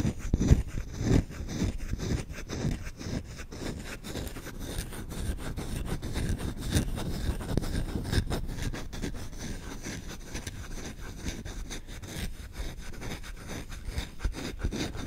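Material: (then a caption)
Wood. A solid wooden spoon, handle and bowl, is scratched and rubbed quickly with short nails and fingertips. The result is a dense, uneven run of dry, low-heavy scraping with louder bursts at the start, then a steady, fast rasp that continues to the end.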